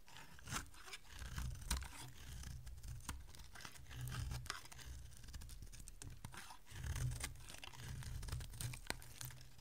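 A solid oval bar of dry white soap, held in the hand, is shaved into flakes with a metal utility blade. Quiet, crisp scraping and crunching strokes repeat steadily with bright crackly edges over a low, dull rumble, swelling slightly around the middle and near the end.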